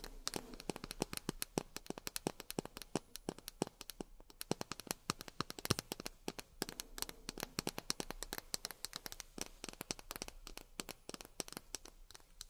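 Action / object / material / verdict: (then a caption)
tap / miniature plastic drinking glasses / plastic / none. Miniature plastic drinking glasses are tapped rapidly with long fingernails. Dense, sharp clicking taps with very short, bright decay follow one another continuously over a quiet background.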